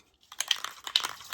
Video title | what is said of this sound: Painting Details on the S-64E Sky Crane RC Model | This is rattle paint. This is rattle bomb paint. Because you got to shake it up.